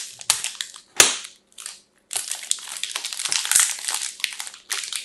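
A pink-striped "fresh" multipack of solid soap bars, still sealed in clear crinkly plastic film, is held in both hands and squeezed and crumpled with fingertips and long nails. Bright, crisp crinkling and crackling comes in bursts separated by short silences, with sharp snapping pops near the one-second mark and again later. It ends in a long, steady stretch of dense rustling.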